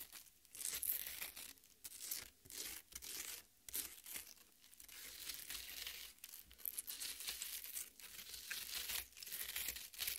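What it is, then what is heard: Watermelon flesh being scratched. Long nails dig and scratch into the red flesh of a half watermelon, making repeated bursts of wet, crunchy tearing and crinkling. The sound is bright and hissy, with little low end and short pauses between the scrapes.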